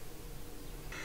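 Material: Nothing is struck.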